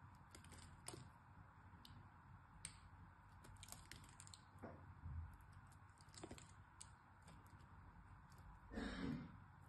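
A small knife carves and scrapes the surface of a solid purple-and-white bar of soap. Short, crisp cracks and clicks come at an irregular pace over a soft low rumble. A longer, louder scrape comes near the end.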